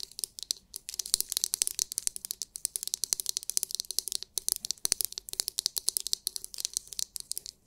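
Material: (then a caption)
Hard plastic. Long nails quickly tap and scratch the hard, clear, glitter-filled plastic dome of a palm-sized oval massage brush. The result is a rapid, uneven stream of sharp, bright clicks and crisp scratchy rustling, with almost no low end and no ring after each tap.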